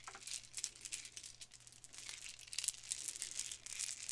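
A gold metallic-finish plastic Mardi Gras bead necklace of small hollow beads is held in fingers with long nails, then shaken and rubbed so the beads clack together. The result is a quiet, continuous, bright rattling of dense, crisp, crinkly clicks that swell and fade over a faint steady low hum.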